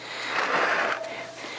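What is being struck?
Nothing is struck.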